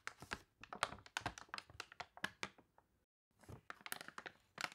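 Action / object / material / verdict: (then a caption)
scrape / thick glossy paper catalog with wrinkled pages / glossy paper / none. A thick, glossy paper toy catalog with water-wrinkled, wavy pages lies open on a table while long dark nails and fingertips scratch and rub the crinkly pages and turn them. Quick, dry crackles and crinkles come in dense bursts with a bright edge, then a brief silence, then more rustling scratches.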